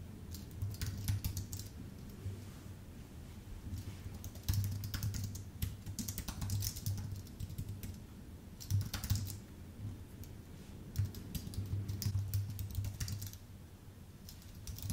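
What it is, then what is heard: Aluminium and plastic keyboard being typed on. A full-size white Apple Magic Keyboard with numpad, thin aluminium base and plastic keycaps, on a dark desk, is typed on with the fingertips of both hands. Quick, soft key taps come in uneven bursts with short pauses, each a brief bright click over a steady low hum near 100 Hz.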